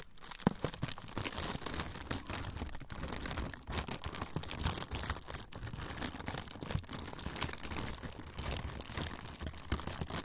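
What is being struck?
Thin frosted plastic sheet.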